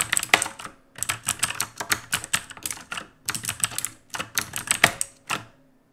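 Fingertips of both hands type on an RGB-lit black mechanical keyboard with plastic keycaps, producing quick runs of bright, sharp clacks. The keystrokes come in bursts separated by short pauses, and each click dies away almost instantly.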